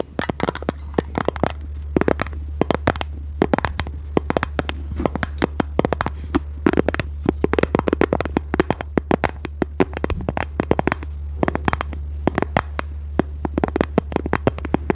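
A small, hollow, rectangular pink plastic case is held in the hands and scratched and tapped with long red nails. The result is a rapid, uneven stream of sharp, dry clicks and scrapes over a steady low hum, with each tap dying away almost instantly.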